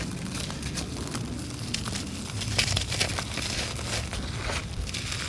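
Bare fingers squeeze and crumble a large, solid, dry clump of red laterite soil on a concrete floor, letting dust and grit fall away. A steady, gritty crackling and crunching runs throughout, with bright, sharp crackles over a low, dull rumble and a slightly louder burst near the middle.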